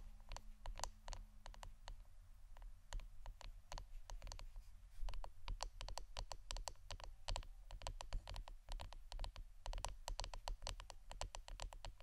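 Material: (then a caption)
Wood. Fingernails tap on the wooden part of an incense stick holder, making a rapid, uneven run of short, dry clicks with bright, crisp tops. Each tap dies away almost instantly, over a steady low hum.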